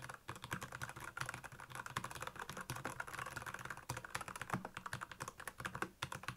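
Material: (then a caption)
Plastic. Fingertips type rapidly on a black plastic Royal Kludge mechanical keyboard with backlit keys. A steady stream of quick, clacky keystrokes, each with a short low thock around 130 Hz and a bright click, dies away almost instantly.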